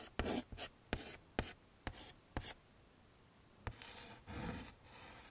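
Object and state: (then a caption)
Chalk drawing on a framed chalkboard. Chalk draws petals and leaves on a wood-framed chalkboard, making a run of sharp ticks and short, bright scratching strokes. The drawing then turns into longer, breathy rubbing strokes with a soft, dry texture.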